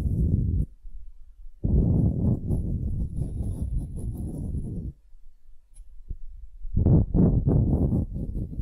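A palm-sized, solid, light wooden ball held in one hand is scratched and tapped with long painted nails. The sound is soft, low and dull, in bursts of rapid scratching and tapping with short quiet gaps and a lone tap between them. Each sound dies away almost at once, with no ring.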